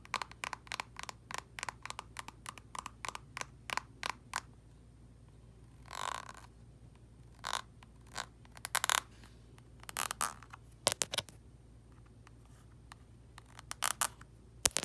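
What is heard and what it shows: Long red acrylic nails tap and scratch the flat crimped end of a small plastic cosmetic squeeze tube with product inside. A quick run of sharp, dry, bright clicks gives way to longer scratchy rasps and scattered taps, with no ring after each one, over a faint low steady hum.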